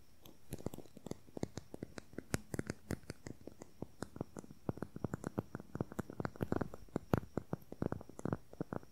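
A slim, hollow, beige plastic concealer tube with a cap is tapped and scratched with fingernails along its length. About 45 quick, sharp clicks and taps come in a rapid, uneven stream over a faint scratching hiss. Each tap is short and dry, with almost no ring.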